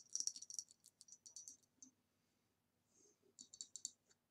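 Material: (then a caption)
Glass. Long nails tap the base and sides of a hollow, ribbed green glass vase standing upside down. Rapid, bright, glassy clicks come in quick bursts, then fade into a quiet gap with a soft brush before a final run of sharp taps.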